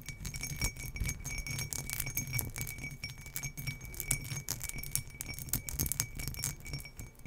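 Long fingernails scratch and tick rapidly over an empty turquoise glass tumbler with an embossed relief design, held in one hand. The result is a dense, uneven stream of bright, glassy scrapes and clicks over a faint steady high ring, with a soft low rumble underneath.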